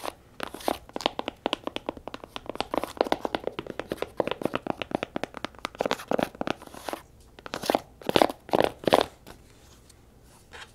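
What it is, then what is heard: Faux leather tablet folio case. A flat, rose-pink faux leather tablet folio case lies folded on a table and is tapped and scratched with long nails across its grooved front. Quick, dry, crunchy clicks and scratchy strokes come in a rapid, uneven stream, centered in the mid-range with some bright edges. The clicks die almost instantly, and the last couple of seconds fall nearly quiet.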